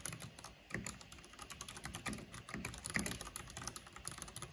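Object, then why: Plastic mechanical keyboard. Fingertips and long nails type on a black plastic mechanical keyboard with a purple backlight. A steady run of sharp, clacky key clicks and taps, each dying out almost at once, with bright high ticks over a low thud and a few louder strikes standing out.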